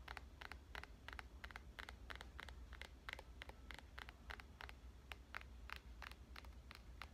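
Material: Glass.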